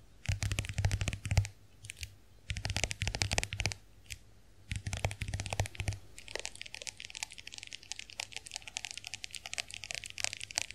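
A small closed white plastic compact hand mirror is held in the hands while long nails tap and scratch its case. Bursts of quick, crisp clicking taps and scratchy rustles come with brief pauses between them, then settle into steady, lighter tapping that runs to the end.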